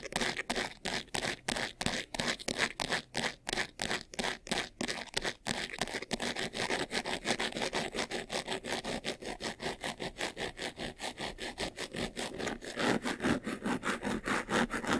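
Fingertips and short nails scratch quickly across the front and top of a closed, hollow, medium white textured faux-leather jewelry box with a handle and rhinestone buckle. A rapid, steady run of dry, bright scraping strokes rasps over the textured surface, each stroke short with almost no ring, spacing out at first and then blurring into a denser rhythm.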